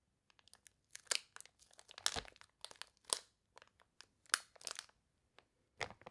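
A small, flat, sealed Trolli Milch Kuh packet of glossy plastic film, full of gummy candies, is held in both hands and squeezed so the film crinkles. Sharp, bright crackles come in irregular bursts, some short and some drawn out, with quiet gaps between them.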